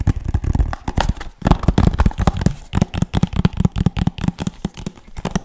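Fingertips and nails tap quickly on the front and edges of a hollow PS3 game case made of hard plastic with a paper insert. The result is a dense run of short, dull, low-heavy clicks and knocks with almost no ring and little brightness, varying in loudness from tap to tap.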